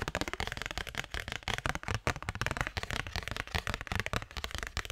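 A thin cardstock postcard is tapped and flicked rapidly with fingertips and nails, producing a dense stream of short, dry papery clicks and snaps. The brief, crisp hits carry a low thump alongside bright edges and die away almost instantly.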